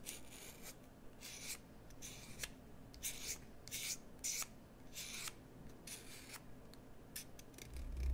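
A solid, hand-sized green bar of soap is carved with a metal carving tool. Repeated bright scraping and shaving strokes rasp across the surface over a low, steady hum, and each stroke ends in a short, dry pause.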